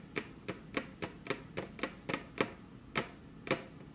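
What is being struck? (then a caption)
Wooden table top tapped with fingernails. Very long curved fingernails tap their tips on a flat, solid, glossy dark-brown wood-grain table top, with the hands crossed. Eleven quiet, sharp, clicky taps land at an uneven pace, each a bright, dry tick with a faint hollow knock around 400 Hz that dies away almost at once.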